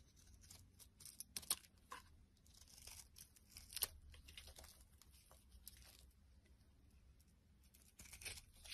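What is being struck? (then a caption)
Bar of soap shaved with a blade. A utility knife blade shaves curls off a solid white soap bar with a blue outer layer, held in the hand. Crisp, bright scraping and tearing strokes come in quick, uneven bursts, a few sharper and louder than the rest, over a faint low rumble.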